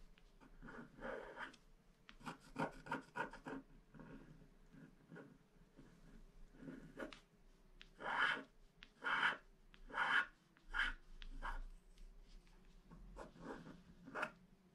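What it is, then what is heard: Wax-coated scratch art card being scraped. A wooden stylus scratches the coating of a flat black wax-coated paper scratch-art card, working inside a planet shape. Short, dry, raspy strokes come in irregular bursts, with a run of louder, brighter scrapes in the middle. The sound stops right away after each stroke.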